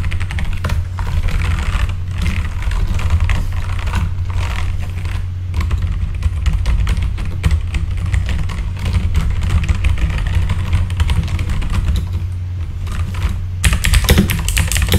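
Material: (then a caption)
Plastic. Rapid fingertip typing on a full-size backlit mechanical keyboard with plastic keycaps, giving dense streams of short clicky key strikes over a strong low-frequency hum. The typing runs steadily throughout with brief lulls, and a brighter burst of keystrokes comes near the end.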